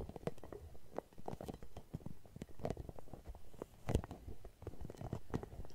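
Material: Rubber.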